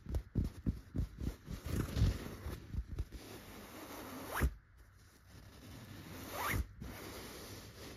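Fingers with short, red-painted natural nails scratch and rub the surface of a soft, stuffed yellow tufted chenille pillow. A quick run of muffled, low-heavy scratching strokes gives way to steady, soft rubbing, broken by two longer sweeping swipes that rise in pitch.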